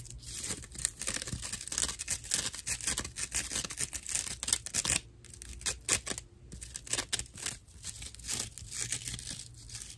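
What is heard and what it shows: A dry natural loofah pad is scratched with the long nails and fingertips of both hands, giving rough, bright, crackly scratching in dense rapid bursts. The strokes come in quick irregular flurries with a brief quieter stretch around the middle, over a faint steady low hum.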